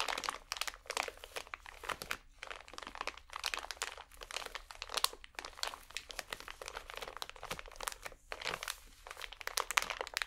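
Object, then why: Plastic-wrapped pack of cotton swabs. A small, full pack of cotton swabs in plastic wrap is crinkled and scratched with painted nails. The result is a continuous run of quiet, bright crackles and scratches in dense bursts with brief pauses, and almost no low end.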